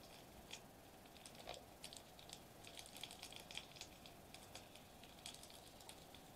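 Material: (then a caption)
Metallized plastic. Fingertips tap and press a flat silver metallized plastic bubble wrap sheet resting on a white table. A quiet, irregular stream of short, bright crinkly clicks and taps sounds over a faint steady hiss, with each tick dying away almost instantly.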